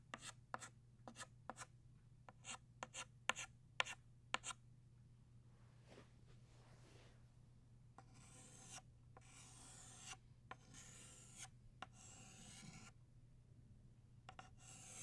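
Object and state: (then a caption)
Chalk drawing on a chalkboard. An orange chalk stick is drawn across a flat black chalkboard in scratching strokes, sketching a new flower outline. It opens with a run of quick, sharp ticks and taps, then moves into longer, bright, raspy scrapes. A faint steady low hum runs underneath.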